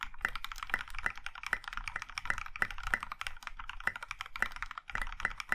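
Both hands type with their fingertips on a compact Iron 165 mechanical keyboard in a plum-maroon metal case with dark grey and pink plastic keycaps. It produces a steady run of quick, clacky keystrokes, each a short, dry click with a bright tick near 2 kHz and a soft low thump beneath. The clicks die away almost instantly.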